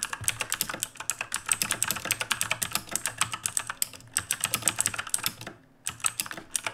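A black RGB mechanical keyboard with plastic keycaps, resting on a wooden desk, is typed on rapidly with the fingertips of both hands. The result is a dense stream of bright, sharp plastic clacks with a high ring on top and very little low end. There is a brief pause near the end before the typing resumes.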